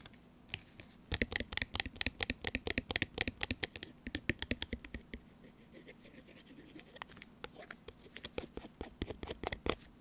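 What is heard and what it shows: Long orange nails tap rapidly on the top corner, near the hang hole, of a small, sealed, full laminated foil-plastic tuna pouch. The taps are short, crisp clicks with a bright, crinkly edge over a faint steady low hum. They come in quick bursts, softening through the middle before picking up again toward the end.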